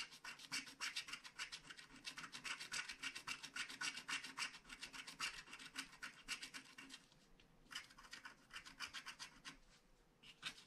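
A wooden stylus scratches the black coating of a flat paper scratch-art card in steady, rapid strokes, making a dry, bright rasping sound. The scratching runs in quick back-and-forth bursts, with two brief pauses near the end before the strokes start again.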